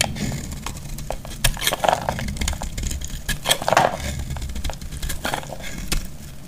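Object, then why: Bar of soap cut with a metal blade. A metal utility knife blade shaves and cuts into a solid, hand-sized, oval bar of dry purple soap held in the palm, scraping off crumbly flakes. Dry, crackly scrapes and bright crisp snaps repeat irregularly over a low rumble, with a few louder cuts standing out.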